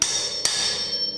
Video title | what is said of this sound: Changing Wheel bearings for beginners | You can hear that tone difference, it's at home.